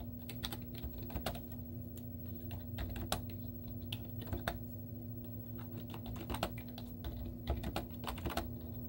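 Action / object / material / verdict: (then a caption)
tap / plastic laptop keyboard / plastic / none. Long teal-painted nails and fingertips type rapid taps on the hollow keys of a white plastic laptop keyboard with cartoon stickers on the keys. Short, bright clicks and clacks come in quick, uneven bursts over a steady low hum.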